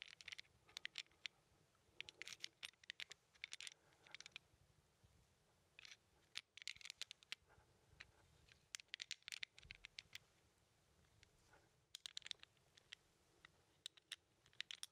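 Fingertips tap and slide the red and white numbered tiles of a small handheld plastic 15 sliding puzzle held in one hand. Dozens of quick, bright, dry clicks and short scraping slides come in irregular bursts over a quiet background, each one stopping almost instantly with no ring.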